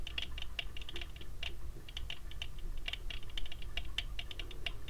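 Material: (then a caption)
Metal. Fingertips tap on the frame and tinted lenses of large, round, thin gold metal-frame sunglasses worn on the face. The result is a rapid, irregular run of light, sharp clicks with a bright, short-ringing tone around 3 kHz over a steady low hum.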